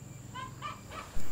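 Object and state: Nothing is struck.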